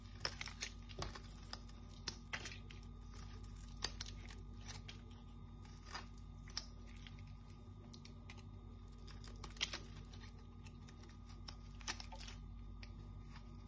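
A palm-sized, dry, solid pink striped Dettol soap bar, held in the hand, is cut and scraped with a small metal knife into brittle shavings. Quiet, crisp, crunchy scrapes and sharp little snaps come in quick irregular bursts over a steady low hum, with bright crackling edges that stop almost instantly.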